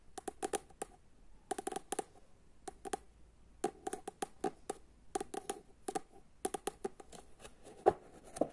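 Long fingernails tap and scratch on a paperback book, first held open at its pages and then closed, tapping both the pages and the cover. The result is quick bursts of short, dry clicks with a light papery scratch, separated by brief pauses.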